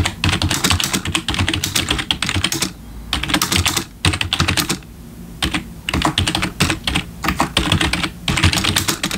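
Fingertips of both hands type on a black plastic backlit computer keyboard, producing rapid bursts of bright, clattering key clicks over a low thud. The bursts are broken by brief pauses, with the longest gap near the middle.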